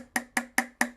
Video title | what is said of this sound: Chai Music - SMS Staff Specialisms | it sounds quite different to if you had a cup of tea or coffee